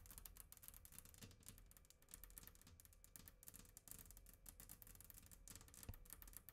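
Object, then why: Glass tabletop tapped with fingernails. Long acrylic nails tap and scratch across a flat glass tabletop made of a solid sheet, with the hands staying on the table and not touching the mic. It produces a dense, continuous stream of quick, sharp clicks with bright, crisp highs and very little ring after each tap.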